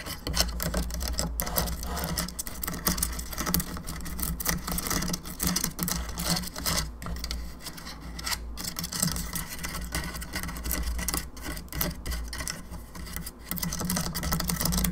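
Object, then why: Plastic skull lamp. Long nails scratch and tap across the cheeks and teeth of a hollow plastic skull candelabra lamp. The result is a dense run of light, quick clicks and bright scraping over a steady low hum.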